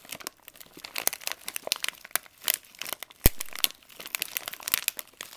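A partly filled green plastic pouch of vitamin C drops is held in both hands while fingers pinch, crinkle and lightly shake the plastic. Dense, bright crinkling and crackling comes in quick bursts, with a sharper loud snap just past the middle.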